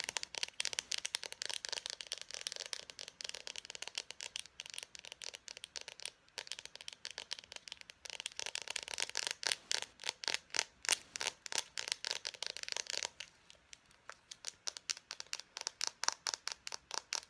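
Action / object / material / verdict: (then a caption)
tap / plastic marker barrel / plastic / none. An Expo dry-erase marker, a small hollow plastic barrel with its cap on, is fast-tapped and scratched with long painted nails. The result is a rapid stream of dry, bright clicks and scratchy ticks with no low end and almost no ring. Near the end, the taps become quieter and more spaced out.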